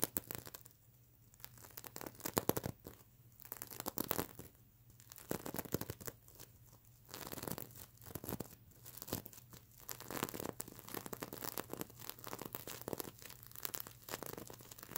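Long fingernails on both hands scratch and flip the plastic sequins of a stuffed mermaid unicorn sequin plush pillow. The result is a quiet, dense stream of rapid, dry, crinkling and tearing-like scratches, with many short clicks in irregular bursts over a faint low hum.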